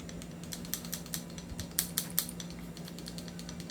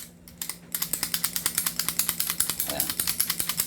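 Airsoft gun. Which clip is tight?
The first.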